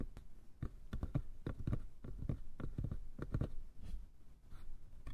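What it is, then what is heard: Wooden box. Fingertips tap and scratch the lattice-patterned lid and sides of a small light-wood box. A steady run of quick, dull, low-heavy knocks is heard, mixed with soft scratching, each tap dying away almost at once.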